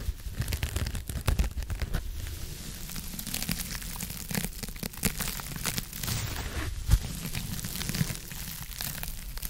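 A hand-sized blue porous foam scrub sponge is scratched and squeezed with long nails right beside the microphone. Continuous dense crackling, crinkling scratches with a heavy low-end rumble and quick bright bursts fill the clip, with one sharper crunch near the end.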